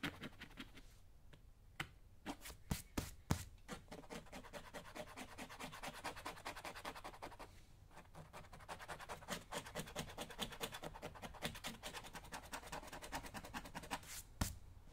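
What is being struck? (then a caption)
Leather work boot. A small hand tool scratches along a black leather lace-up work boot near the laces and welt while the other hand holds the boot steady on a shine stand. Quiet, dense, rapid scratching runs throughout, with a few sharper, louder ticks near the start and end.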